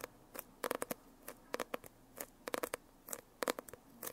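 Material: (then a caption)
Foil-covered card. Long painted nails tap and scratch across the glossy holographic foil cover of a closed hardcover notebook. Around seventeen quick, crisp clicks come in irregular bursts, each with a hollow knock near 430 Hz and a bright ticking edge that dies away almost instantly. Soft quiet gaps separate the bursts.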